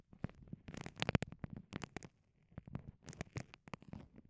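Long nails scratch and fingertips press a small, clear, soft vinyl pouch that has microphones inside it. The result is quiet, close crinkling and scratching in quick, irregular bursts, with muffled low thumps under bright, crackly scrapes. There is a brief pause midway before the scratching resumes.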